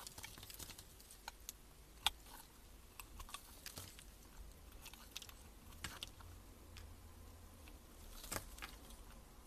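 A metal blade shaves the surface of a solid, pale cream bar soap held in gloved hands. The result is quiet, bright, crisp scraping and crunching ticks, scattered irregularly over a low, steady background hum. One sharper, louder snap stands out early on.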